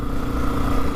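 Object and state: Nothing is struck.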